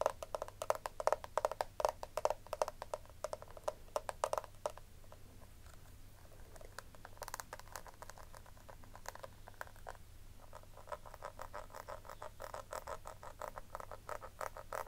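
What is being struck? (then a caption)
Small plastic compact powder case tapped with fingernails. A small, round, hollow pink plastic compact powder case is held in the hand while long nails tap and scratch its embossed lid. The result is a quick, irregular run of light, dry clicks with bright edges and a low, steady hum underneath. The tapping is dense at the start, eases into softer scratching, then picks up again near the end.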